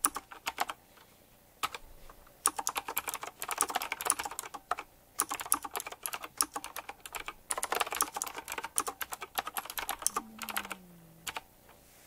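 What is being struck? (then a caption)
Mechanical keyboard with round plastic keycaps and metal rims. Fast typing on a retro typewriter-style mechanical keyboard with round black plastic keycaps, chrome-look metal rims and a glossy black and metal frame. Bursts of sharp, bright clicks come in quick runs separated by short pauses. Near the end, a faint low tone glides slightly downward beneath the last taps.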